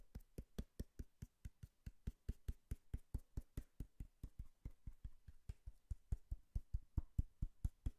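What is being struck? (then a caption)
Cardboard box. Knocking and tapping on a cardboard box produces a steady run of dull, low, hollow thuds. Each knock is short and dies away almost at once. The hits come quickly at an uneven pace.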